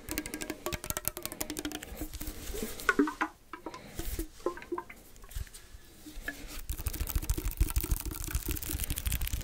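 A small, hollow cylindrical metal tin can with a blue and white label is held in both hands and tapped and scratched with fingertips and nails. Quick, irregular light taps and bright clicks mix with a scratchy rustle. The tapping thins to a softer scratching passage midway, then picks up again.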